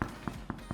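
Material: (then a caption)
Bread. A home-baked sourdough loaf, just out of the oven, is knocked on the bottom four times to test doneness, giving short, low, hollow thuds. The hollow sound means the loaf is baked through and ready, with a crispy crust and a soft, spongy crumb.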